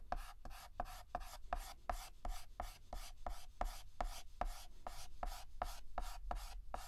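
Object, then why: Chalk stick on a slate chalkboard. Fingertips hold a yellow chalk stick and shade a petal on a flat, solid black chalkboard with rapid, short back-and-forth scratches. The result is a quick, uneven run of dry, gritty strokes, each with a faint squeaky tone around 720 Hz.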